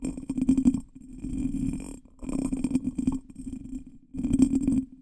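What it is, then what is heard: Cut glass bottle. A hand holds a small, hollow, ornate cut glass bottle that looks empty while fingertips and nails tap and scratch its textured glass body and base. Dense bursts of rapid tapping and scratching come in three louder clusters, with a low hollow tone and a bright, glassy sheen. Softer scratching fills the gaps between them.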